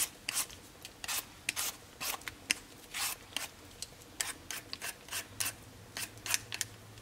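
A solid raw potato held in the palm has its skin scraped off in strips with a black vegetable peeler, the peel strips falling onto a cutting board. A quick, uneven series of short, bright, rasping scrapes repeats over a quiet background, each stroke ending abruptly.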